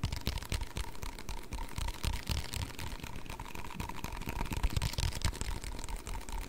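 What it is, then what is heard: Plastic cup. Fingertips tap and scratch the ribbed wall of a single small, hollow, empty yellow plastic cup with a white rim, held in both hands. The result is a quiet, dense stream of soft, dull taps and rustling scratches with very short decay, mostly low in tone, over a faint steady hum.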